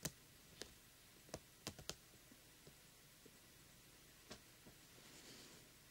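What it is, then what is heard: Glitter-coated plastic pumpkin lamp tapped with nails. Fingertips and nails tap the face of a small, hollow, light-up jack-o'-lantern lamp with a coarse glitter-coated plastic shell, lit from inside. Seven sharp, dry clicks with bright edges die out almost instantly, spaced irregularly among a few fainter taps. A soft rustle rises near the end over a quiet background.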